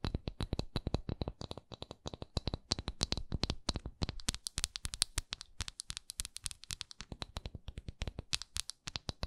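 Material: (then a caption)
Wax. A large solid wax pillar candle with a raised swirl pattern is held on its side while long acrylic nails scratch and tap its patterned side and flat wax end. The result is a fast, steady stream of short, dry clicks and scratchy taps with a bright edge.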